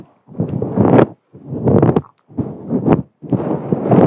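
A fluffy grey-white faux fur microphone windscreen, a soft, hollow synthetic fur cover, is scratched and rubbed with the long acrylic nails of both hands. Four separate bursts of dense, muffled rustling sit mostly in the low and middle range, with brief bright flicks, and each burst is split by a short silence.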